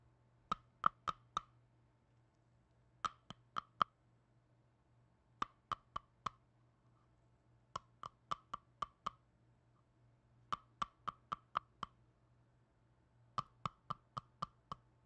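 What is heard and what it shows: Black-gloved fingers tap and click a small red plastic jar with a lid, which is opened and closed. Six quick bursts of four to six sharp, dry plastic clicks each die away almost instantly. A faint steady low hum sits underneath.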